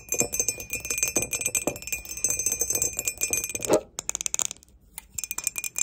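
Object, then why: Ceramic mug. A glossy grey ceramic mug with an unglazed cream rim and a barcode sticker on its base, hollow and apparently empty, is held in the hands and tapped and scratched along its side and base with long pointed acrylic nails. Rapid, bright clicks and scratchy ticks come in a dense stream over a faint steady high ring, each tap dying away almost at once. After a louder scrape near the end, the taps thin out into quieter, sparser clicks.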